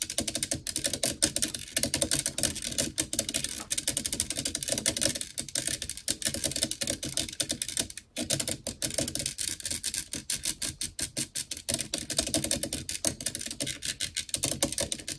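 Long nails on both hands rapidly tap and scratch the hollow black metal mesh grille of a blue desktop microphone. A dense, continuous stream of bright, crisp clicks and scratchy rasps carries a faint hollow mid-range ring, with only a brief pause around the eight-second mark.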